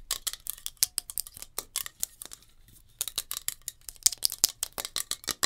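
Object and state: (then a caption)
Metal hairspray can. Long nails tap rapidly on a metal hairspray can, making about 27 sharp, bright clicks with almost no low end and no ring. The taps come in quick bursts with a brief pause in the middle before resuming.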